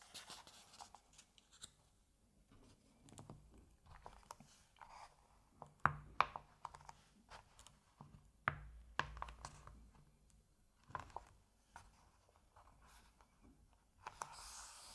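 A hand rubs over the printed paper page of an open Asterix comic album, then fingertips handle the page. Quiet, soft scratchy rubbing is broken by sharper, crisp paper snaps and crinkles, the loudest clustered around the middle of the clip.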